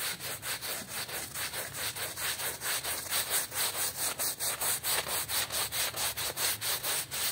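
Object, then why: Woven textile rug scrubbed with a hand brush. A small patterned woven rug, wet and soapy, is scrubbed with a small hand brush held in a yellow rubber-gloved hand while the other hand holds the rug flat. Quick, steady back-and-forth strokes produce a rhythmic, bright, bristly swishing at about two strokes per second, with little low end.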